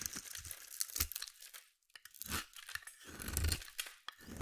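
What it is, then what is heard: Bar of soap being shaved. A solid, hand-sized bar of blue soap held in one hand is shaved and scraped with a metal utility blade, peeling off crunchy curls. Short, dry crunching scrapes and bright scratchy tearing come in quick bursts over a soft low thump, with a brief near-silent pause in the middle.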